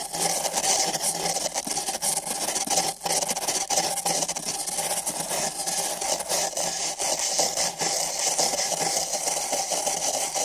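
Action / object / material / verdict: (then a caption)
scrape / empty paper cups brushed with nylon bristles / paper / none. Thin nylon bristle brushes on sticks scratch and rub along the walls of two identical empty printed paper cups fitted over microphone ears. The result is a continuous, dense, bright scratchy rustle with fast papery strokes and a faint steady low hum underneath.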